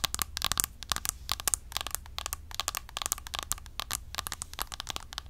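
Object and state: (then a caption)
Plastic compact tapped with nails. A round, palm-sized, flat Essence bronzer compact with a clear plastic lid is held up and tapped quickly with long acrylic nails. This makes a fast, uneven run of sharp, dry plastic clicks that are bright and high with almost no ring, over a faint low hum.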